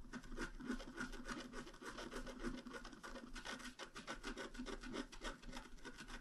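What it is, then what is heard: Scratch art card being scraped. A pointed wooden stylus scratches flower details into a flat, black-coated scratch art card about A4 in size. It makes quick, uneven scratchy rubbing strokes, roughly three per second, with a dry rasping texture and a faint steady low hum underneath.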